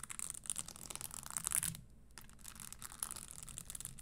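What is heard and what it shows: A red spiked leather stiletto pump stands upright and empty on a table while long nails tap and scratch its insole and spikes. The result is a quiet run of crisp, bright clicks and scratches, with a brief near-silent pause just before the two-second mark before the tapping resumes.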